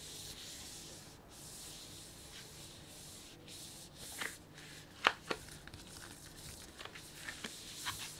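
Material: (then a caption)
Plastic. A full, medium-sized printed plastic sunflower seed bag is rubbed by the whole hand with the fingertips, making a steady, soft crinkling scrape rich in high hiss. About five sharper crackles stand out over the continuous rustle in the second half, each decaying almost instantly.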